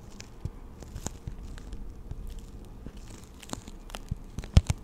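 Long acrylic nails tap and scratch a hand-sized clear plastic blister pack, hollow around the six pastel markers it holds. Soft, dull crinkling scratches and scattered short clicks run throughout, with two sharper, louder taps near the end.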